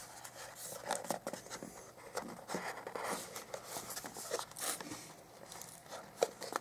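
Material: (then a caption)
Cardboard. Fingertips and short nails rub and scratch along the printed surfaces and edges of a small, hollow white cardboard Motorola Moto G 2014 retail box, held in both hands and turned over, possibly picking at a seal sticker. Quiet, close, dry scraping and crinkly rustling come in uneven bursts with sharp little ticks and brief hollow taps, and the bright upper range dominates over almost no low end.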